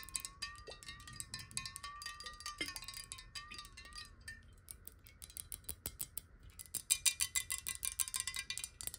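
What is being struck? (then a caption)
Glass bottle with water. Long nails tap quickly on the sides of a clear square glass bottle holding water as it is tilted and then set upright. Bright, clicky taps come in a fast, uneven stream over a faint wavering glassy ring in the first half, then grow sharper and louder toward the end.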